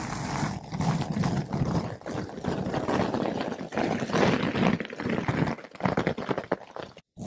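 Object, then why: Foam microphone windscreen. A flat paintbrush with blue synthetic bristles brushes a large, soft, porous yellow-pink foam ball windscreen fitted over a microphone. It makes a dense, continuous scratchy swishing with a muffled low rumble, rising and falling in strokes. It drops out briefly to near silence just after the seventh second.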